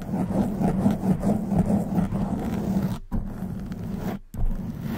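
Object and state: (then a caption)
Foam microphone windscreen being scratched. Long nails grip and scratch a black foam windscreen on a silver microphone, producing a dense, close, rumbling crackle with a strong low hum around 200 Hz. The scratching runs continuously with two brief near-silent breaks before it resumes.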